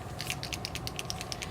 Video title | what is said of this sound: Wink of Stella Brushでキラキラきらめく立体Xmasカード作り | shake it up you'll hear that little shaker ball if you don't hear the shaker ball then you want to keep shaking it because it's obviously caught in some of the ink and glitter